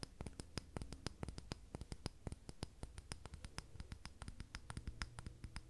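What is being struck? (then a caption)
Glass candle jar filled with wax. A medium dark green glass candle jar with a paper "Stinging Nettle" label and lid, filled with wax, is held in hand and tapped and clicked with long red-painted nails. A quiet, fast, uneven run of many short, sharp clicks is heard, each with a bright tick over a dull low body. Every tap dies out instantly with no ring.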